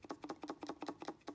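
A brand-new counterfeit Bosch 044 electric fuel pump is shaken, and its loose internal parts rattle in seven quick, light clicks. The rattling internals are a bad sign, and the pump was already judged fake because of poor machining and mismatched ejector pin marks.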